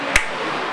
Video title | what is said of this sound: Baryl band, visite de travail gwada 11 2012 | Il n'est même pas serré en beau serré, il est mou.